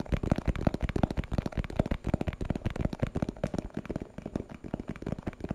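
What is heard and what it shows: A small, hollow, translucent plastic box with a purple printed label is held in the hand and tapped with fingertips and nails. The rapid, uneven taps are short, dry clicks and thumps weighted toward the low end, with no ring after each one.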